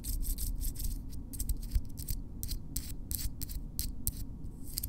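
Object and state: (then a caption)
Fingernails tapped together. Long natural fingernails of both hands, solid keratin, are tapped and clicked tip against tip in close-up. The result is a quick, irregular run of short, bright clicks over a low, steady rumble.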